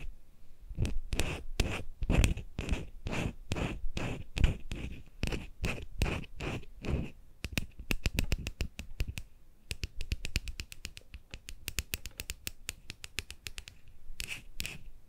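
Fingertips guide a white-handled ear-cleaning tool with a thin metal tip as it scrapes and scratches inside the canal and folds of a life-size white silicone ear model mounted on a binaural microphone stand. Close, bass-heavy scratching strokes with bright, crisp edges come in a steady rhythm at first, then turn into quicker, denser flicking scrapes before a few slower strokes return at the end.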